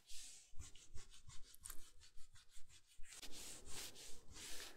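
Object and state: Plush fleece bathrobe scratched.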